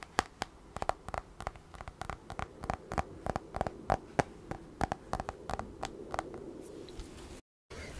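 Fingertips of both hands tap and scratch the flat, solid aluminum back of an iPad held upright with its screen facing out and a pencil attached on the side. A rapid, uneven series of short, dry clicks with a faint metallic tone around 780 Hz rises over a low, soft scratching hiss, with no ringing after each tap. The sound cuts out briefly near the end.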